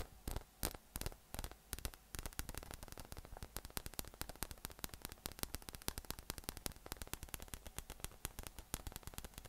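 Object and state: PVC spiky massage ball.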